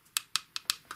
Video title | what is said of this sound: Mod To Fix S**t Night Light Bulb. (Patreon EA Vid) | it sounds like plastic it is glass